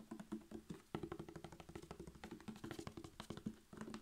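A laminated paperboard Mragowska maślanka buttermilk carton, about 1 liter, hollow, with a blue plastic screw cap, is held in one hand and tapped fast with the fingertips and short nails of the other hand along its sides and near the cap. The result is a quiet, rapid stream of dull, hollow taps with short ringing knocks and a low tone, the rhythm rising and falling with brief pauses.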